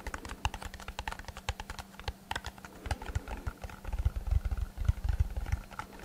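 A small, hollow brown kraft cardboard box held in both hands is tapped and scratched with fingertips and short nails. The result is a rapid, irregular run of dry, clicky taps with a hollow low thump, under a faint steady low hum. Over the last couple of seconds the taps grow denser and heavier, with a deeper boomy body.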